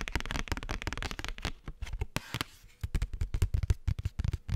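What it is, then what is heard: Paper postcard. A thin cardstock postcard with a champagne-glass print is held in the hands and tapped and scratched with fingernails. Rapid, dry, close taps with a low thump come in quick bursts, and a brief softer stretch of bright scratching falls midway before the tapping resumes.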